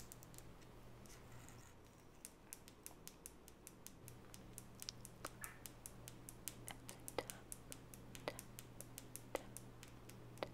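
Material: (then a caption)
Wood. Long natural fingernails tap on the solid wooden body and edges of a small oval wooden nail brush with light natural bristles, held in both hands. A quick, irregular series of sharp, dry clicks sounds over a steady low hum, with no ring after each tap.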